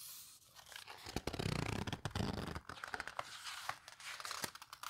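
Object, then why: Paper photo book. An open paper photo book has a page caught mid-flip while fingertips squeeze and rub the paper pages. The result is a dry, crinkly rustle with bright, scratchy texture, broken by sharp crackling snaps. It swells loudest in the middle and then settles into softer rubbing.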